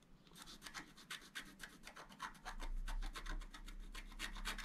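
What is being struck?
Coated scratch art paper card scraped with a wooden stylus.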